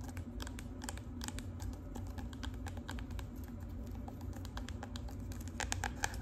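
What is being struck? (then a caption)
Hard cardboard notebook cover. Long pink acrylic nails tap rapidly with several fingers on the flat, rigid cover of a marbled hard cardboard composition notebook. A dense run of short, dry clicks with bright edges sits over a steady low hum, each tap dying away almost instantly.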